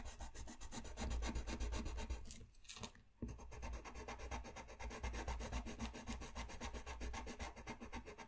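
A brown pencil colors a thin white paper sheet lying flat on a desk, while the other hand steadies the sheet. Fast back-and-forth rubbing strokes, about four per second, make a steady scratchy rasp with a low rumble underneath. The strokes pause briefly near the middle, then resume at the same quick pace.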